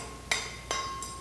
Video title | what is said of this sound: FALKENWALD Multi Material Circular Saw blade Review | you don't hear that ting sound then your blade it's not gonna be a very good material